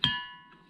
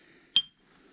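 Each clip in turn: First: One hammer blow draws a clear, high bell-like ring from the boulder that sustains well past the strike. Second: A single hammer strike on a boulder gives a sharp click and a faint high tone that dies almost at once.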